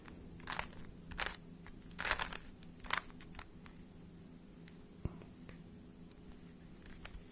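A small, hollow plastic 3x3 Rubik's speed cube is held in both hands while fingertips twist its layers. Bright, crunchy clicking bursts come at irregular intervals, loudest in the first three seconds, then fade to softer ticks with one sharp click later on. A steady low hum runs underneath throughout.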